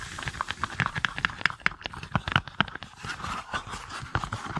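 A matched pair of small, hollow, cup-shaped green silicone pot-holder mitts is held close to the microphone and tapped and squeezed with long nails and fingertips. The result is a quick, irregular stream of short, dry taps and clicks, with bright nail ticks over soft, hollow low thumps and rubbery squeezing between them.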